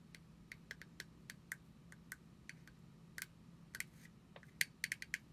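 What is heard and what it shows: Long acrylic nails tap and scratch a small round plastic cosmetic jar with a white body and dark green screw lid, held in both hands. About sixteen quick, dry clicks come at an irregular pace, each bright and sharp around 2 kHz with almost no ring. A faint low hum sits underneath throughout.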